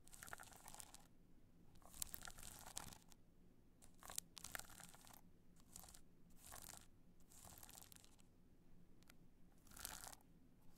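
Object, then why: Rhinestone-covered hard-shell clutch. A black multicolor rhinestone hard-shell clutch is held in the hand while long nails scratch across its rhinestones. Bursts of bright, gritty, crunching scratches come and go over a low steady background hum, with quiet pauses between them.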